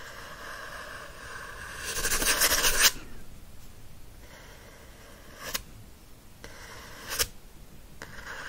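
Fingernails scratch the glossy card back cover of a teal paperback book lying back cover up, making a steady, bright, hissy scraping texture. The scratching swells into a louder, rougher burst for about a second, then drops back to a soft rasp broken by a few brief, sharp scrape accents.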